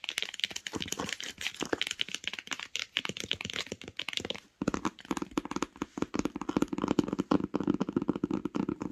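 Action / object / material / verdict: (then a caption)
tap / cloth-covered hardcover book / cloth, board / none. Long acrylic nails rapidly tap and scratch a closed hardcover book with a grey cloth-covered board cover, resting on a blanket, working over the cover and the spine edge. The first half is a dense run of crisp, bright clicks and scratchy rustles. After a brief silent pause, the taps turn fuller and lower-pitched.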